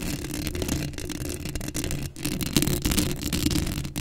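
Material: Metal mesh.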